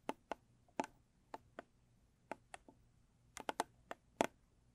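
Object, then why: Small cardboard gift box tapped with fingernails. Long pointed acrylic nails tap the lid of a small square blue textured cardboard gift box. About twelve quiet, sharp, clicky taps come in an uneven rhythm, each dying away almost instantly with a light hollow tone. Some taps fall in quick clusters.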